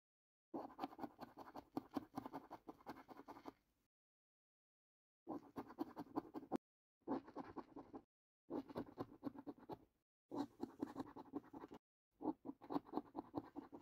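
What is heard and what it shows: A coin scratches the top winning-symbol panels of a thin cardboard paper lottery scratch card lying flat on a table. Six bursts of quick, quiet rasping strokes are heard, with short silent pauses between them. The scraping is soft and dry, centered in the low-mid range, and has no ring after each stroke.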